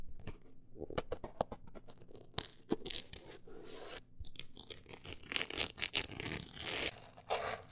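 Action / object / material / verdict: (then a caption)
scrape / closed book with embossed woven-texture cover / cardboard / none. A closed, solid book with a woven-look embossed cover is scratched on its cover and page edges with long acrylic nails. Bright, dry scratching and crackly tearing-like rasps come in quick strokes and longer scraping sweeps, with a few sharper clicks.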